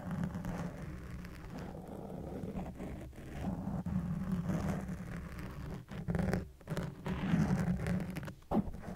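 Fingertips and nails scratch and tap a soft, porous black foam windscreen on a white microphone, switching to one hand at a time near the end. The result is a dense, muffled, low-heavy rustling and scraping with a steady low hum-like band. It drops briefly into short gaps before louder bursts of scratching return.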